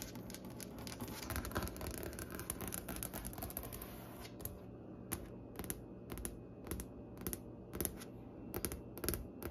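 Long nails from both hands tap rapidly on a large, solid, striped-grain wooden butcher-block desk top. Dense, quick clicky taps with a low woody body fill the first four seconds, then the tapping thins into sparser, distinct bright clicks. Each tap dies away almost immediately.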